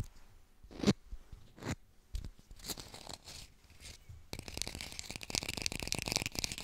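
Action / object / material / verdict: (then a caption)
tap / artificial plastic lemon / plastic / none. A small, hollow-looking plastic fake lemon is held in one hand and fast-tapped and scratched with long pink acrylic nails. Dry, crinkly taps and scraping strokes come in scattered bursts, then turn into a dense, bright stream of rapid tapping with little ring.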